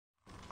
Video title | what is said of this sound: home made coriander powder -- सही तरीके से बनाएं धनिया पाउडर -- #sdfoodseries | कितनी अच्छी आवाज आ रही है कम खन खन की आवाज आ रही है इसका मतलब धनिया हमारी अच्छे से सूख गई है